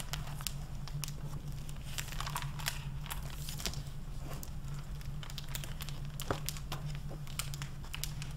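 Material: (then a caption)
Plastic, paper. A hardcover library book with a crinkly clear plastic (mylar) protective jacket lies open on a wooden desk while fingertips with long painted nails turn and flip its paper pages and crinkle the plastic-covered jacket. A dense stream of bright crinkling and crackling snaps runs throughout over a steady low hum near 150 Hz.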